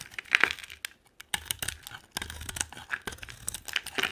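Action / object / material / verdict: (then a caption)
scrape / bar of soap cut with a metal knife blade / soap / none. A solid, dry white bar of soap with a pink rim is held in the hand and carved with a metal utility knife blade, sending white flakes flying off. The blade makes dry, crisp scraping and crackling bursts that are bright and high with almost no low end, broken by a short quiet pause around one second.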